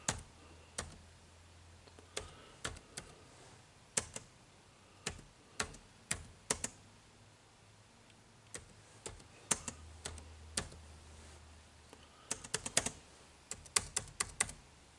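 Fingertips type on an HP laptop keyboard with dark plastic keys, producing sharp, bright clicks in irregular bursts with short pauses between. Each keystroke is a quick tap that dies away almost instantly, over a faint low hum.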